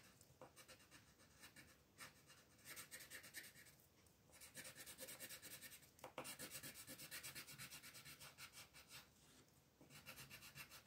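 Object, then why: Wooden colored pencil on a paper sheet. A pink wooden colored pencil shades a petal on a flat white paper coloring page with rapid back-and-forth strokes. The sound is a quiet, bright, dry scratching and rubbing that comes in bursts of quick strokes with brief pauses between them.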